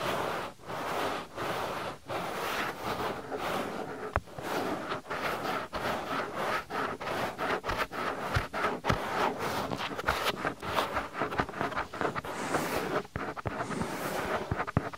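Fingers grip and rub the lower part of a soft white silicone ear on a binaural microphone throughout. The result is a steady, dense rubbing and scraping texture, strongest in the midrange, broken by brief quiet gaps and quick flapping catches.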